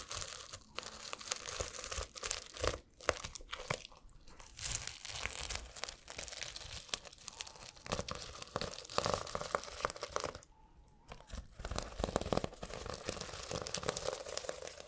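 Fingers scratch and brush the plastic sequins on the cover and spine of a small sequin-covered notebook held close to the mic. The result is a dense, bright stream of crinkly, crunchy clicks and rustles, with a brief quieter pause near the eleven-second mark before the scratching resumes.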